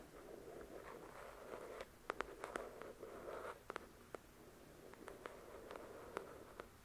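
Long acrylic nails scratch and tap the glossy card cover of a thick paperback book. Soft, continuous scratching alternates with sharp, dry clicks that stop almost at once, with no ring. The taps cluster in the middle and toward the end.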